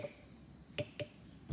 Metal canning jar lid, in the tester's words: you can hear that high-pitch